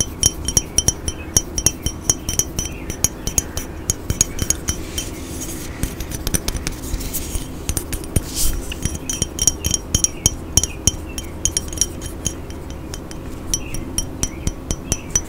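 A hollow, medium-sized dark black glass cologne bottle with a silver spray top is tapped with fingernails and fingertips. It gives dozens of quick, bright glassy clinks with a high ringing tone that dies away almost instantly, over a steady low hum.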